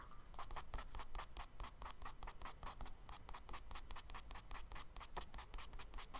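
A charcoal stick scratches tree strokes onto the solid surface of a tan kraft paper page in a spiral sketchbook. It makes a quick, uneven series of short, bright scratchy strokes with a low rumble underneath, and each stroke stops almost at once.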